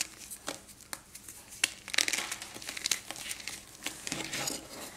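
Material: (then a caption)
Chalk. A small, solid chunk of reformed, pressed gym chalk is held over a pink bowl while fingertips and thumbs crush and rub it. Dry, bright crunches and crinkly crackles come in quick, uneven bursts with almost no ring. Dust and crumbs fall into the powder below.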